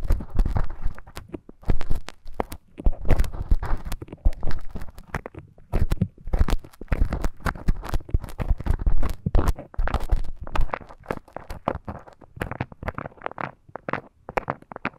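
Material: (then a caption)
Silicone. A thin bamboo stick scratches inside the ear canal of a life-size soft silicone ear model. It makes a dense run of close, crackly scrapes and crunches, heavy in low-frequency rumble with a dry, quick decay.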